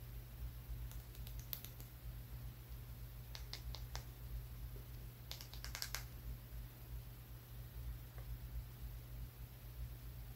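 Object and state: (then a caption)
Small rock tapped with fingertips and nails. A small, solid brown rock held in the fingers is tapped with the fingertips and nails, making quick bursts of sharp, bright clicks in three short clusters. A faint final tap follows, and a steady low hum runs underneath throughout.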